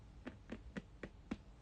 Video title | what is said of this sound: Let's Talk Hermès: Episode 2 | when you knock onto something like Togo you get a different sound so you literally get that boxy kind of sound